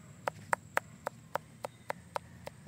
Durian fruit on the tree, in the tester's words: Pag ganito na yung tunog, parang hollow na yung ano niya. Yan, hinog na yan.